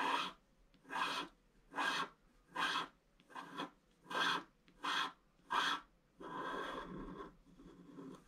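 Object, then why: Scratch art paper sheet with wooden stylus. A wooden stylus scratches the flowers in the upper right of a flat scratch art sheet with a black coating. It makes a series of short, bright, raspy scraping strokes at a steady, unhurried pace, then a longer continuous scratch and a softer trailing one.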